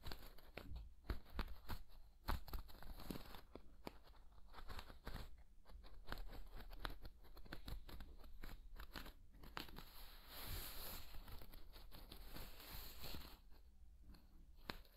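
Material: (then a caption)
Vinyl. A thin, flexible woven plastic or vinyl placemat is bent and crunched with fingers close to the ear. It makes a steady run of dense, crisp crackles and snaps over a quiet low rumble, with brief sharper pops near the start.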